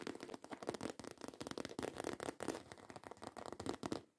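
Long white coffin-shaped acrylic nails rapidly scratch across a black croc-embossed faux leather handbag. They make a dense, crackly run of quick scrapes and clicks centered in the low mids. It continues steadily for about four seconds before fading out.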